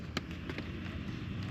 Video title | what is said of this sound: It Took Me Driving a Mercedes for 5 Years To Realize What Luxury IS NOT! | All kinds of movement and play in areas like that.